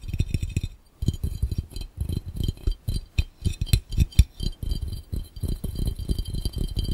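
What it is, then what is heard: Glass fishbowl. Fingertips tap rapidly on a clear, round, hollow and empty glass fishbowl, producing quick, irregular bursts of short, glassy clinks. Each tap has a low, dull thump under bright, high ringing ticks that die away almost at once. There is a brief pause near the one-second mark before the fast tapping resumes.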